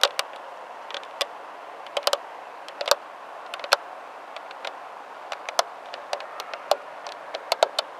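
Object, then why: Plastic car headlight lens. Long fingernails and fingertips rapidly tap and scratch the clear polycarbonate plastic lens over the hollow housing of the front headlight on a blue Geely Atlas Pro SUV. The result is a quick run of short, sharp, bright clicks with almost no ring, set over a faint scratchy hiss.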